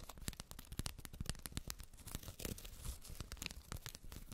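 Long red nails repeatedly scratch along the woven fabric label and the fluffy fur near the zipper of a closed white faux-fur makeup bag. The result is a rapid run of short, dry scratching strokes with bright, rough texture and no ring after each stroke.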